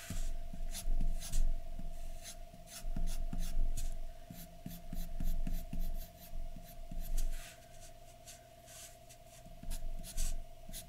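A graphite pencil scratches short, uneven strokes across a large flat white paper sheet resting on a dark surface, shading in hair. Bursts of dry, bright scratching come in irregular clusters with brief pauses, over a steady faint mid-pitched hum and low rumble.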